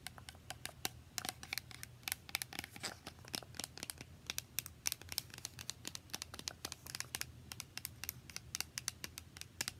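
A small, partly filled, translucent plastic spray bottle is held sideways and tapped quickly with long nails. The result is a rapid, irregular stream of sharp, bright clicks that die away almost instantly, over a faint, steady low hum.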